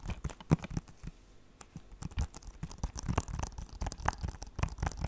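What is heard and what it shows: Fingertips and nails tap and scratch a closed blue plastic PS4 game case. Quick, dry clicks with almost no ring mix with soft scratchy rustles. The overall sound stays low and muffled, with a few brighter ticks.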